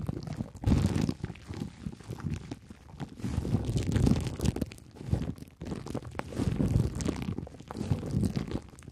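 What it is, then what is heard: Plastic cling film scratched and tapped. Clear plastic cling film stretched tightly over a head is scratched and tapped with two thin wooden sticks held in the fingertips. The result is a steady run of soft, low, muffled crinkling and dull tapping that swells and fades in bursts.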